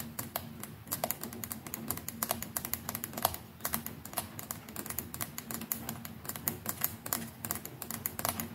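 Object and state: Plastic electric toothbrush.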